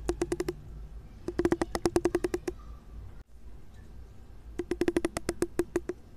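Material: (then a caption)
Plastic. A large pink plastic wide-tooth comb has its solid teeth plucked with a fingertip in three quick runs. Each pluck gives a short, dry, woody tick with a faint hollow tone around 350 Hz that dies away almost instantly. A low, steady background hum sits underneath.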